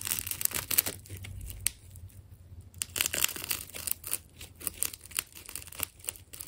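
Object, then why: Ball of layered plastic tape. A small blade cuts and peels layers from an elongated red and white ball of solid, layered plastic tape while the other hand holds it. The clip is a string of bright, crisp crackles and tearing, crinkling snaps, with a steady low hum underneath.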